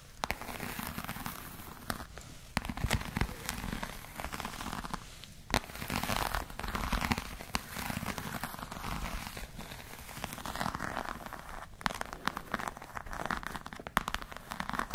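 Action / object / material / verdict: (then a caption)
scrape / croc-embossed patent leather bag / patent leather / none. Long nails scratch across the scales of a black, glossy croc-embossed patent leather clutch bag. The result is a dense, crackling scratching with frequent sharp, bright clicks over a steady low rumble, swelling and easing in waves.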